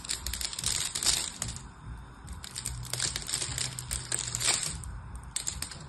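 A dark blade cuts a grid into a solid orange and white striped soap bar held in the hand, and small soap cubes crumble off and fall. The cutting makes bright, crisp crunching and scraping with dense clicking crackles in uneven bursts over a faint low hum.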